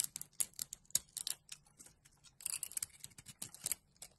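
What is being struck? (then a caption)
Bar of soap. A metal craft-knife blade scrapes and carves thin slices off a solid bar of gold-glitter soap with a purple layer, held in the palm. Quick, crisp, bright scraping strokes come in rapid bursts with almost no low end and no ringing.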